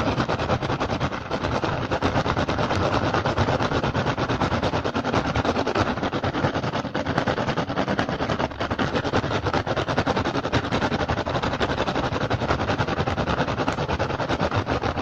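An upturned, hollow, empty woven rattan basket is tapped fast with the fingertips and scratched with the nails of both hands. A dense, continuous stream of quick dry clicks and rasping scrapes goes on for the full length with a steady loudness. The sound is mostly low and mid with a woody body and little bright content.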